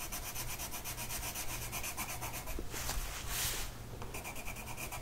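A blue colored pencil tip is rubbed across a flat printed mandala coloring sheet of paper resting on a table and held down by one hand. The result is a steady, dry scratching with quick back-and-forth strokes, a brighter, hissier stretch near the middle, and a faint low hum underneath.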